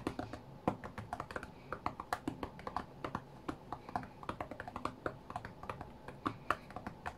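Fast fingertips tap on the glass touchscreen of a flat white iPad during a rhythm game, making about forty quick, dry clicks with a clear knock around 1.2 kHz. Each tap stops almost at once, in an irregular, rapid rhythm.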